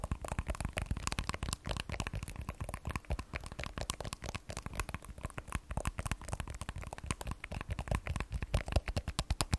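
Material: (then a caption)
Glass. An iPhone 12 Pro, a solid hand-sized phone with a matte glass back and stainless steel frame, is held sideways in both hands and tapped with long manicured nails. Dozens of quick, dry clicks and taps come in a steady, rapid stream, each stopping almost instantly, with a soft low thump under the brighter tick.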